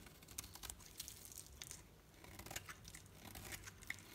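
A metal knife scrapes and carves shavings from a solid green painted bar of soap with a dark edge, held in the hand. It makes soft, dry, crackly scraping and crumbling sounds with quick bright crisp bursts over a quiet low hiss.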